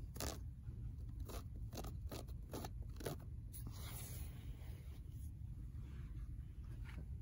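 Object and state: Paperback book spine scratched with fingernails.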